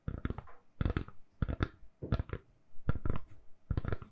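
Long nails tap and scratch a hand-sized, solid lilac silicone-covered phone case fitted on a phone. Six quick clusters of soft, dull, low taps come in short bursts, with brief scratchy clicks and almost no ring after each touch.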